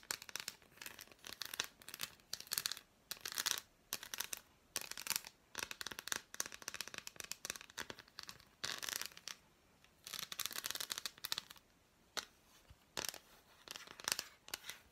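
An unwrapped solid dark chocolate bar, held upright, is tapped and scratched with long nails on its squares and edge. Quick, dry, bright clicks and scratchy rasps come in dense bursts separated by short pauses, with almost no ring after each hit.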